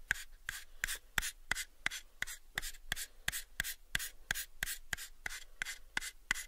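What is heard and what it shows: Fingertips rub and scratch the surface of a small, pale, unfinished hollow wooden box held in both hands. About twenty short, dry, bright scratching strokes repeat at a fairly steady rhythm, each ending almost at once with no ring.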